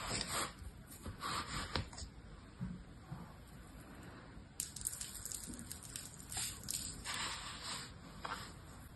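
An orange plastic toy shovel is dragged and scraped through the surface of fine, dry blue-purple sand in a single clear plastic tub, held by one hand. Soft, gritty scraping and rubbing swells in repeated bright, hissy bursts. There is a quieter stretch in the middle before the strokes pick up again.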